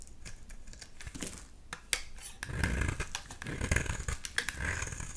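A utility knife blade scrapes the edge of a solid blue bar of soap held in the hand, piling up shavings. Irregular, crisp scraping strokes and short clicks sound over a low rumble. The scraping grows louder and denser in the second half.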